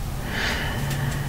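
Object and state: Nothing is struck.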